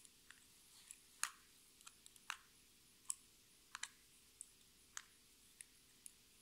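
A small lipstick with a metallic pink plastic body and a white cap is held in the hands and tapped and scratched with long red nails. Quiet, sharp, bright clicks land at an irregular, unhurried pace, each dying away almost instantly. Soft scratching fills the gaps, and there is almost no low end.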